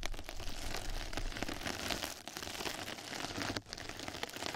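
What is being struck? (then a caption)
Knitted plastic mesh bath sponge. Two mascara brushes scratch and brush across a flat yellow knitted-mesh scrub sponge pad laid over the microphone, making a dense, continuous crackling and crinkling hiss like rain on a surface. The texture is bright and grainy over a steady low rumble, with brief dips in loudness near 2.2 and 3.6 seconds before the scratching picks up again.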